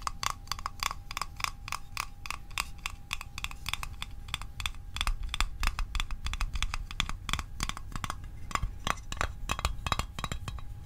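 A small, hollow metal Altoids mint tin is tapped rapidly with the fingertips and nails on its lid and sides. The taps are short and bright, with a brief metallic ring around 1.2 kHz, over a steady low rumble throughout.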